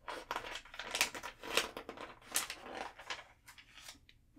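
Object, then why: Glossy paper catalog pages. Thin, glossy pages of an open guitar catalog lying on a table are turned with fingertips and long nails, then both palms rub across the open spread. Bright, crisp paper swishes and crinkles come in uneven bursts with almost no low end, each dying away quickly.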